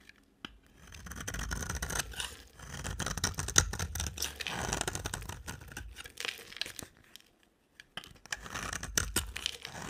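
A utility knife blade held in a hand with long black nails scrapes a solid, dry pink bar of soap. Bursts of dry, crackly shaving and crumbling sound come in uneven strokes, with brief quiet pauses between them and a bright, gritty texture throughout.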